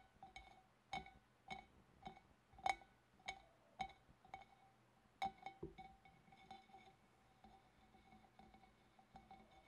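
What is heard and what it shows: Long dark-painted nails tap around the wavy rim and shoulder of a large, clear, empty, hollow glass fish bowl held at the front. The result is a series of quiet, crisp glassy clinks, each with a brief bright ring near 750 Hz and 2.2 kHz. The taps are evenly spaced at first, then grow softer and more scattered toward the end.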